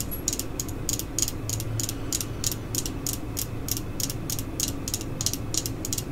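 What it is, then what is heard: Plastic screwdriver handle tapped with fingernails. Long glittery acrylic nails tap and scratch a solid black plastic screwdriver handle with a red end cap, held in hand, while other screwdrivers lie still in the background. Quick, bright clicking taps come about three times a second in a loose rhythm over a steady low hum.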